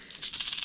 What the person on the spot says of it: it is a subtle sound a subtle knock